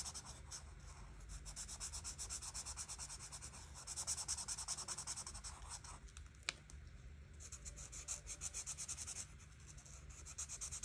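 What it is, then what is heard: Felt-tip marker rubbed on a paper colouring page. A felt-tip marker is rubbed back and forth over a flat paper coloring book page, filling the flower petals in red. The quiet, steady scratchy strokes are bright and hissy, rising and easing in short bursts with a faint low hum underneath, and one sharp tick stands out partway through.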